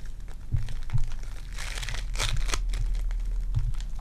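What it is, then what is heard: Foam bead clay being kneaded. Sticky purple foam-bead clay is kneaded and pulled between fingers with long dark nails. The clip is full of dense crinkling and crunching as the beads squeeze and pop, with a few soft low thumps and a brighter burst of crackles in the middle.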